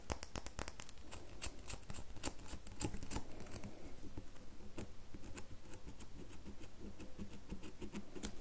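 Long natural nails scratch and scrape the already-scraped surface of a solid rectangular red bar soap held in the hand, with shavings falling onto a white table. A quick, uneven run of short, dry scratches and ticks with bright crisp edges sits over a soft, continuous low rasp.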